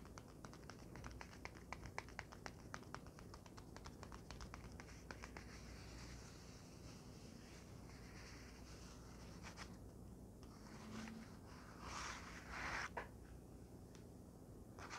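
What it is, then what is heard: Padded paper envelope. Long fingernails tap on a flat, empty yellow padded paper envelope lying on a blanket, making quick, light, dry clicks. The taps are densest in the first half, then give way to softer scratchy rustling with a few brighter bursts near the end.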